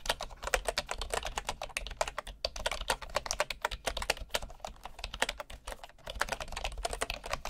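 A right hand types steadily with its fingertips on the wooden keys of a bamboo keyboard. The result is a rapid, continuous stream of short, dry clicks, full in the midrange with bright tops, over a faint low hum, with a couple of brief pauses in the rhythm.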